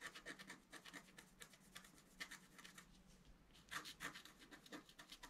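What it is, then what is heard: Scratch art card being scratched. A thin wooden scratch stylus held in the right hand scratches the coating of a flat black-coated scratch art sheet with a deer motif, lying flat on a table while the left hand holds it. A quick series of short, dry, bright scratching strokes rasps over a soft hiss, with a few sharper, louder strokes near the middle and end.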